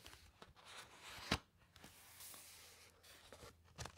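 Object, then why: Thick paper encyclopaedia pages. Fingertips and long nails rub across the thick paper pages of an open hardcover encyclopaedia, then a page is turned. Soft, bright papery scratching and rustling is broken by a sharp crackling snap of paper early on, and a crisp rustle near the end.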